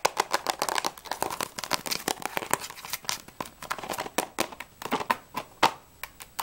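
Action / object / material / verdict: tap / small cardboard crayon box / cardboard / none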